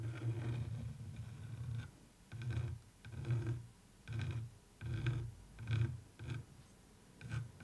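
A wooden stick, held with long nails, traces and scratches across the surface of a textured printed canvas picture. It makes a long opening scrape followed by shorter, uneven strokes separated by brief pauses. Each stroke is a low, dull rubbing with a faint high, gritty edge.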